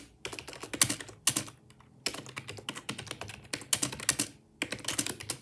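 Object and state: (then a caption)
Plastic computer keyboard being typed on. Fast typing with the fingertips of both hands on a black, full-size, hollow-bodied wireless Microsoft ergonomic plastic keyboard, with the mouse left idle. Quick bursts of bright, clicky keystrokes with very little low end are separated by short pauses, and each tap decays almost instantly.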